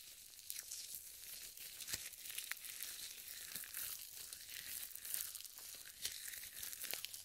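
Purple nitrile gloves glossy with lotion are rubbed together with fingers interlaced above the mic. The result is a steady, bright, wet crinkling and sticky squelching texture, with short crackly snaps scattered throughout.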